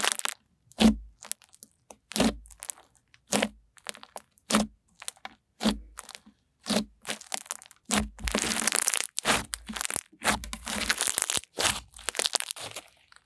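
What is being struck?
Fluffy slime.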